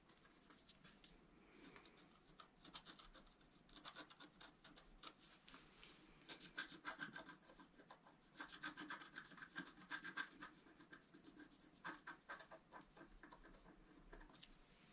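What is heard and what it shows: A wooden stylus scratches repeated strokes across the coating of a flat, black-coated scratch-art paper card. The quiet, dry, bright rasping comes in uneven bursts of quick strokes, with a faint thin squeak around 1.6 kHz during the busiest passages.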